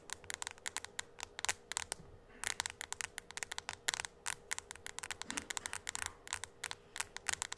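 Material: Glass.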